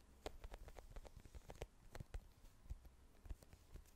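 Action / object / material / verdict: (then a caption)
tap / small plastic squeeze tube with cap / plastic / none. Long nails tap a small plastic squeeze tube with a green cap, held upright, striking both the tube and the cap. About fourteen quick, soft taps sound at an uneven pace, each a dull low knock with a faint crisp click on top. The taps die away at once with no ringing.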